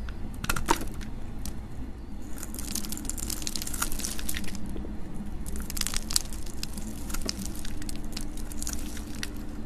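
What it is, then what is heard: Dry soap bar being scraped and cut. A hand with long nails holds a solid, dry, hand-sized green soap bar while a metal utility knife blade scrapes and cuts into it, breaking off flakes. Dense, crunchy scraping and crumbly crackles fill the clip, with sharp bright snaps over a steady low hum.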